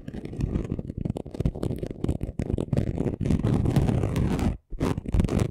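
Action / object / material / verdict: scrape / chunky glitter craft sheet / glitter / none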